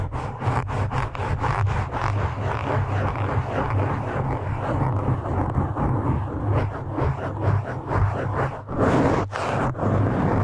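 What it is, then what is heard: Foam microphone windscreen being scratched. Fingertips of both hands rub and scratch a black foam windscreen on a microphone, producing a continuous, muffled, rumbling scrape with a heavy low boom around 94 Hz and almost no high end. The scratching rises and falls in uneven bursts throughout, with a brief dip near the end before it picks up again.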